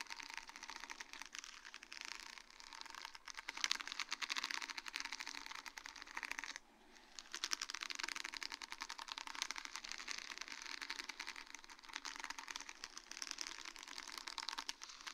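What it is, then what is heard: Sheet of small acrylic rhinestones on mesh. A flat sheet of small faceted acrylic rhinestones on a grey plastic mesh backing, lying on a wooden board, is tapped and scratched with long dark-painted nails. A dense, continuous stream of tiny bright clicks and scratchy rustling fills the high range, with a brief lull just before the seventh second before it resumes. The clicks are dry and short, with almost no low end.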